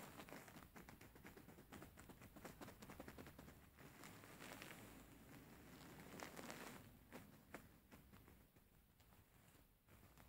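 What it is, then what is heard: Faux fur pillow. Fingers scratch and pat the fur surface of a grey faux fur stuffed cushion. The result is a quiet, soft stream of brushy scratching with quick muffled pats in an irregular rhythm and a bright hiss over it. It swells into a fuller rustle in the middle, then thins out toward the end.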